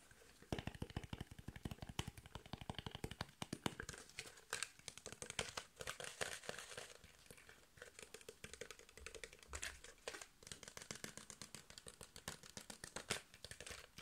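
An empty clear PET water bottle with a ridged body is tapped, squeezed and scratched with fingertips. The result is a fast, dense run of short, sharp clicks mixed with plastic crinkling and scratchy rustle across fourteen seconds, with each tap dying away almost instantly.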